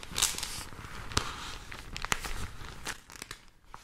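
A thin, folded, pink printed newsprint supplement is held in both hands close to the mics, then crinkled, bent and rubbed with fingertips and long nails. Bright, dry paper crinkling and rustling comes through, broken by a few sharp, crisp crackles and snaps.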